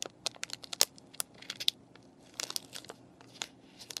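Long painted nails tap, scratch and crinkle a clear plastic paintbrush package with a cardboard backing and brushes inside. An irregular series of quiet, crisp ticks and crinkles, with bright, high-pitched clicks that stop instantly and leave almost no low end.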